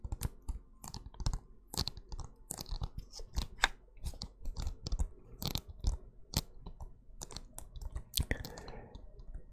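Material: Plastic.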